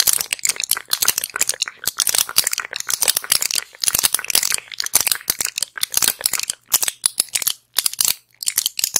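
Long acrylic nails tap and scratch a small, flat pill blister pack with plastic bubbles and a foil back. The result is a dense run of crisp, bright clicks and crinkly scratches in quick irregular bursts, with no low end and almost no ring, broken by short silent gaps.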